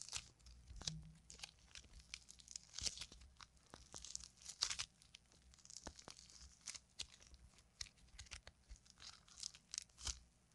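A soft, solid, fist-sized lump of pink and purple modeling clay is held in both hands with long painted nails and kneaded, squeezed and torn apart. Quiet, dry, bright crunchy tearing and crackling bursts come in quick succession, each cutting off almost at once, over a faint low background hum.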